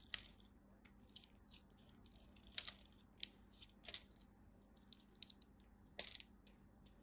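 A craft knife carves small crunchy cubes off a small purple piece of dry bar soap held between the fingers. Quiet, sparse, bright, dry crunches and crisp cuts snap off with almost no ring, over a faint, steady low hum.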